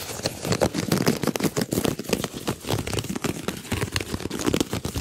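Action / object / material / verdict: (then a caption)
scrape / ribbed flexible plastic duct tube / plastic / none. A large, hollow, ribbed white flexible plastic duct tube arched over the microphone is stretched and compressed while fingers rub along its ribs. The result is a dense run of quick crackling clicks and rasping scrapes with a hollow, mid-low body and short bright edges, continuing without pause for the whole clip.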